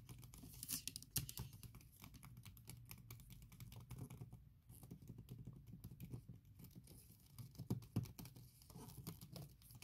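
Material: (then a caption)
Silicone. A MacBook keyboard covered by a soft silicone keyboard skin is typed and tapped quickly with fingertips and long nails. The result is a dense, muffled patter of soft clicks with a low thud underneath and a few sharper taps standing out.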